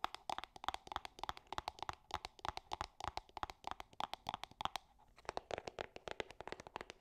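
A small, hollow, gold-printed cardboard perfume box, held in one hand, is tapped and scratched with long painted nails. Dozens of quick, dry, papery taps with scratchy crinkle ring out around a hollow midrange tone near 790 Hz, pausing briefly near the five-second mark before resuming.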